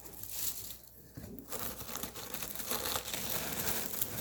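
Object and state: Thoroughly dried radish greens.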